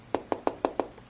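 Fingertip taps on the textured glass display of a Mobiscribe e-reader give six short, hard clicks, the last one cut off at the end. Each tap has a dry, wood-block-like knock centered around 500 Hz that dies away almost instantly. The display sounds fairly hard, much like a glass phone screen.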